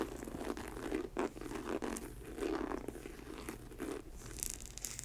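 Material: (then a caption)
Synthetic leather. Long acrylic nails tap and scratch the upper of an empty faux snakeskin ankle boot made of snake-print synthetic leather, near its studded trim. Soft, dry taps mix with a steady crinkly rasp that has a low-mid body. Brighter, sharper scratches come near the end.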